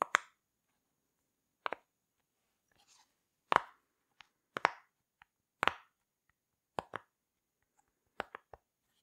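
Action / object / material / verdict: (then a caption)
tap / silicone pop-it fidget toy / silicone / none. A rainbow heart-shaped silicone pop-it fidget toy with hollow bubbles is pressed and popped by fingertips with long nails. It makes short, dry, quick plops, often in close pairs, with brief pauses between them. The room is otherwise quiet.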